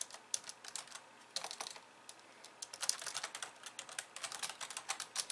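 Long polished nails type rapidly with both hands on a compact pink and white plastic keyboard resting on a wooden desk. Bright, dry plastic clicks and taps come in quick, uneven bursts with short pauses, each one dying away almost instantly. There is no low end, only a crisp, high clatter of keys.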